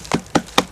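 Three knocks on a dead tree trunk with an oblong pileated woodpecker hole, each a short, dull, hollow thump with a low resonance that dies away almost at once. The trunk is hollow.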